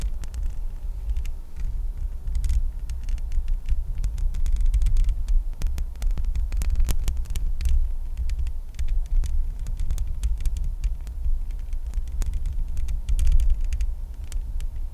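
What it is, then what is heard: Metal microphone mesh grille. Long painted acrylic nails and fingertips of both hands scratch and tap directly on the hollow metal mesh grille and body of a Blue Yeti X USB microphone. The result is a constant deep, throbbing rumble, with many short, sharp clicks and scrapes spread across the whole clip.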